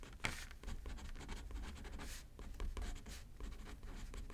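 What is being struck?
Paper card on a paper pad, written on with a pen.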